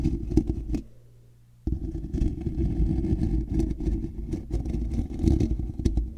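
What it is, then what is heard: Metal mesh microphone grille being scratched. Fingertips and nails scratch across both sides of a hollow, black woven metal mesh microphone grille. The result is a dense, low, rumbling scrape with crackly clatter, broken by a brief quiet gap where only a faint low hum remains before the scratching resumes just as loud.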